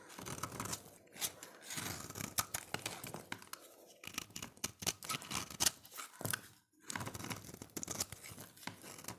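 A solid oval red bar of dry soap, held in the hand, has its surface scraped with a utility knife blade. The result is a rapid series of short, dry, bright scraping and shaving strokes with soft crumbling texture, coming in bursts separated by brief pauses.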